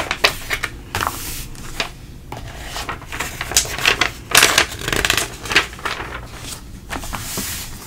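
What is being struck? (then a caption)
Thin glossy paper magazine pages. A hand turns and smooths the thin glossy pages of an open printing-industry magazine, with fingertips pressing the pages flat. It makes a string of crisp, bright paper swishes and crackles at an uneven pace, with softer rubbing hiss between them.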